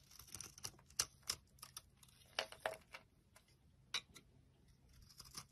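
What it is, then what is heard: Soap bar scraped with a blade. An orange bar of soap is held in the hand and scraped and carved with a utility blade. About sixteen short, dry, bright scraping and crisp cutting sounds come at an irregular pace, each dying away almost at once, over a quiet background.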